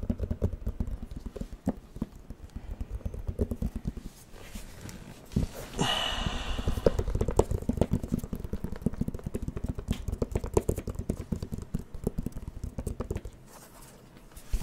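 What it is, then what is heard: Plastic light-up drawing pad. Fingertips tap quickly on the plastic screen of a light-up drawing pad held close to the mic, making a dense run of soft, dry, low thuds. The taps thin out briefly around the four-second mark, then a short brighter scratchy swish comes in near the middle. The quick tapping resumes and fades to near quiet just before the end.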